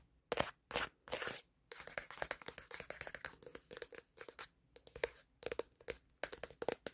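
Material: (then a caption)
Plastic. Fingertips of one hand rapidly tap and scratch the black plastic back panel of a smartphone while it records. Dry, crisp clicks and brief scratchy bursts come close and bright, with a slight midrange knock and almost no ring. Early on a few longer scratches stand out, then dense tapping follows.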